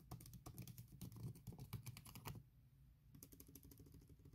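Long red nails tap and click rapidly on the keys of a MacBook Pro keyboard covered by a thin silicone skin, then shift to slower, rhythmic nail taps and scratches. The clicks are short and dry over a steady low hum, with a brief near-silent pause around the middle before the taps resume.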